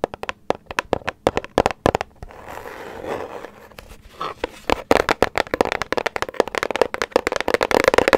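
A small, hollow grey-white paper gift bag with circle prints and a rope handle is held in one or both hands and tapped and scratched with long nails. Crisp, dry papery taps come in quick bursts, broken by a softer, continuous scratching rustle in the middle. The clip ends in a dense run of rapid tapping.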